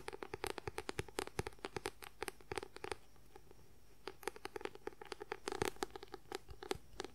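A closed paperback book with a white paper cover, held upright, is scratched and tapped with the fingertips and nails. Rapid, dry, short taps and papery scratches come in dense bursts with a faint hollow body tone around 400 Hz. A quieter lull of light scratching follows, then a second flurry of fast tapping.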